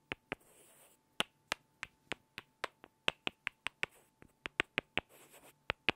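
Two small solid light-wood blocks are tapped together and scraped edge to edge by hand. About twenty sharp, dry clicks sit bright around 2.5 kHz and die away almost instantly. Two soft, hissy scraping passes break up the taps, one near the start and one near the end.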